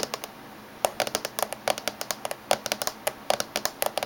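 Fingernails of both hands tap rapidly on the top surface of a closed silver laptop. After a brief pause near the start, about 26 quick, dry clicks follow with a bright edge and a light tonal knock around 600 Hz. Each tap dies away almost instantly.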